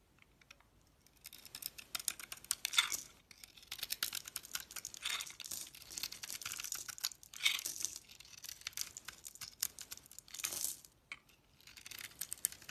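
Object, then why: Bar soap scraped by a steel blade. A steel utility knife blade scrapes flakes off the pearly silver coating of a solid oval Fa bar soap with a purple core, held in the hand. The result is a dense run of quick, dry, crisp scraping and shaving sounds. They are bright and high-pitched with almost no low end, and a few louder strokes stand out.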